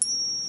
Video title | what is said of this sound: Another Visit with Spencer | does have a ring to it when you tap it ... he put a drop of acid on it and it's not silver it's just a base metal